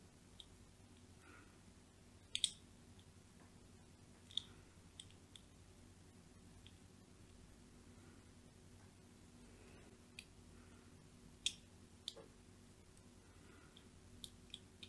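A thin blade, held by a hand with long nails, scratches and scores grid lines into a solid white, palm-sized bar of soap that is already cross-hatched and held in the other hand. Quiet, soft scraping is broken by about a dozen sharp, bright clicks and snaps as the blade catches, over a faint steady low hum.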